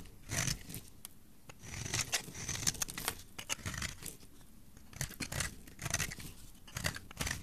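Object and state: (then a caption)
Bar soap being scraped. A flat metal blade scrapes and shaves the cut face of a solid, palm-sized purple bar of soap held in a hand with long dark nails, producing purple flakes. Repeated dry, crisp shaving strokes come in short bursts, bright and hissy with a soft low body. Each stroke stops quickly with no ring.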